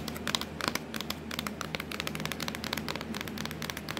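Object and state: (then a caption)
Plastic laptop lid tapped with nails. Long acrylic nails tap and scratch across the hollow, black textured plastic lid of a Dell laptop with a logo. They make a quick, uneven run of short, bright clicks and crinkly scrapes that stop almost instantly, over a faint steady low hum.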